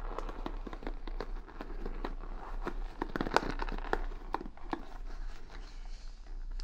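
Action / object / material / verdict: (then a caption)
scrape / wooden paddle hair brush with bristles / wood / none. Long nails and fingertips scratch and rub the bristles of a wooden paddle hair brush with beads, held close to the microphone. Dense crackling and brushy scratches are heard, punctuated by sharp, bright ticks and clicks, over a steady low hum.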